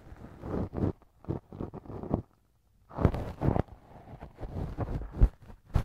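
A thin wooden earpick held in fingers scrapes and rubs inside the left ear of a soft, solid silicone ear cover mounted on a binaural microphone. The result is a run of close, muffled, low rubbing and scratching bursts, mostly deep in tone. A short silent pause falls in the middle, and sharper scrapes follow it.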